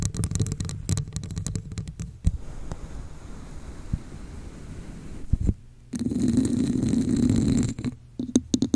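Long nails tap and scratch the sides of a hollow red scale-textured plastic cup held over a microphone. Quick, irregular hollow taps give way to a softer, grainy scratching. After a brief pause, a louder, steady rubbing scrape with a low, hollow resonance follows, then a few scattered taps at the end.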